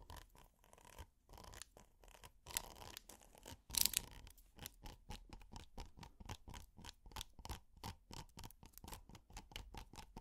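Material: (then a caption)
Silicone. A red, flat, textured hexagonal silicone pot holder is scratched with plastic finger picks. Quiet, dry, bright scratching strokes come in rapid rhythmic bursts, with one sharper, louder scrape near the middle and no ringing after each stroke.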